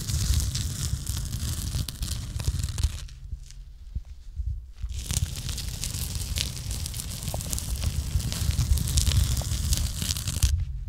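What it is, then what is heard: Rusty iron pipe. A gloved hand scratches and rubs the rusty surface of a long, likely hollow iron pipe or bar running across a brick pillar in a basement. It makes a dense, gritty rasping and crackling over a heavy low rumble, with bright scratchy grit on top. The scraping eases off into a quieter stretch for a couple of seconds near the middle, then resumes just as rough to the end.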